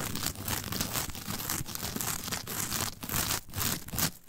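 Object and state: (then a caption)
Coir fiber mat. Long nails scratch and rake the fibers of a flat, brown, coarse coir fiber mat toward its center. The result is a dense, continuous crackling and crunching texture with a bright, hissy top. Repeated strokes swell and briefly dip throughout.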